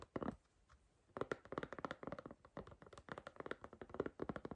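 Long green nails tap on the back and inside of an empty striped white, green and blue silicone iPhone case with a soft rubbery shell. The taps come as a short burst, a pause, then rapid irregular runs of quick, dull clicks that die away almost instantly.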